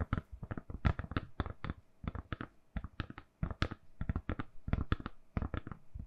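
Long manicured nails tap and scratch a hand-sized, solid, lilac silicone-covered phone case on a phone held in both hands. The result is a quick, irregular run of soft, dull taps, mostly low and muffled, with occasional brighter clicky edges and scratchy bits. Each tap dies away almost at once.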